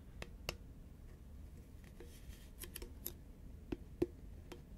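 A green Pringles can, a hollow composite cardboard tube held upright and tilted, is tapped and scratched on its printed side by long nails. Sharp, dry clicks with a bright edge come in an uneven rhythm over a low background hum, with brief scratchy rasps in between. Each tap dies away almost at once, and the last few land with a slightly hollow thud.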